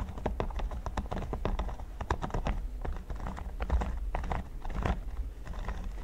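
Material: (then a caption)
Silicone. Fingertips and nails tap and scratch the studs of a red silicone pyramid mat lying flat and solid. The result is a rapid, uneven stream of short, soft clicks and dull taps over a steady low rumble, with quick decays and no ringing.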